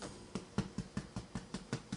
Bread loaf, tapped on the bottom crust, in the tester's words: tapping the bottom can you hear that it sounds hollow